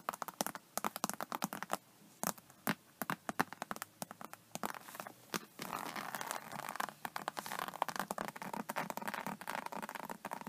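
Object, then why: Embossed vinyl faux-leather tablet case. Long nails scratch and tap the embossed scales of an iridescent faux snakeskin vinyl (faux-leather) iPad case, then the hand moves toward the case's edge at the end. The result is a dense stream of quick, sharp, dry clicks and crackles, which gives way after about six seconds to a steadier, brighter scratching rasp under the taps.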